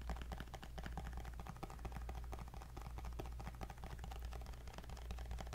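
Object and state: Glass-screen tablet in a case.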